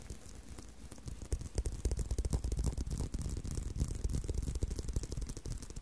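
Fingers tap and scratch on a leather belt, making a steady run of soft, dull, low thuds at about three per second. A faint, bright scratchy texture runs underneath. The sound starts quieter and grows fuller after the first second.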